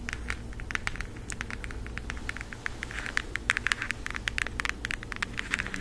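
A floral cardboard eyeshadow palette, held in both hands, is scratched and tapped with long nails. The result is a rapid, dense stream of short, dry, crackly clicks with a bright edge, over a steady low hum.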